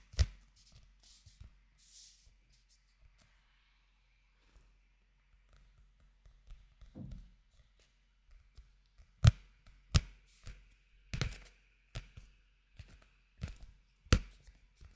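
Fingertips tap the glossy cover of a small blue-covered paperback manga, solid paper, held up near the microphone. Seven dull, low, short thumps stand out, spread irregularly among fainter soft taps and quiet rustles, each dying away almost at once.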